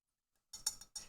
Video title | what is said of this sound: A Terrible Tomboy pt 14, by Angela Brazil 1904 | It sounds like glass.